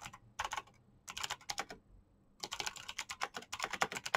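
Fingertips tap continuously on a black plastic backlit mechanical keyboard with green clicky switches, producing bursts of short, bright clicks separated by brief pauses. Each keystroke snaps off almost instantly with little low-end body, and the typing grows denser and louder toward the end.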